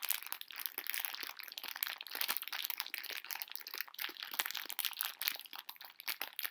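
A full pink plastic-film bag of conversation heart candies is held upright and crinkled and scratched with long nails. The result is a steady run of bright, crackly crinkles and sharp scratchy ticks, with almost no low end.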